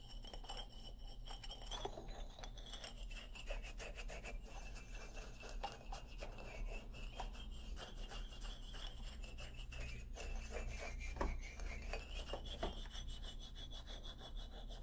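Fingernails of both hands scratch and rub across the solid hardwood bars of an upright xylophone, making a dense run of dry, raspy scrapes and quick ticks. A steady low hum and a faint wavering mid-high tone sit underneath throughout.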